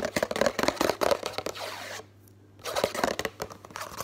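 Fingertips and nails rapidly tap and scratch the front and sides of a hollow Complan drink-powder box made of thin printed cardboard while it is held up. The result is fast, dry, papery taps and scrapes with a hollow mid-pitched knock and a bright scratchy edge. The sound breaks into near-silence for about half a second midway, then resumes.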